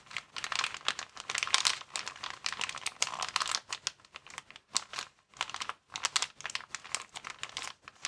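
A clear plastic inflatable air-column packaging cushion, hollow and partly filled with air, is held in both hands while thumbs and fingers squeeze and crinkle its columns. The result is dense, bright, crackling crinkles in rapid bursts with brief pauses between, with almost no low end.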